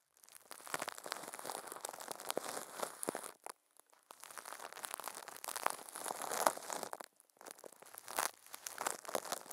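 Furry puppet hands squeeze and crinkle thin clear plastic film wrapped over a microphone head. The result is dense, bright crackling and crinkling in three stretches, separated by two brief pauses, with no low end.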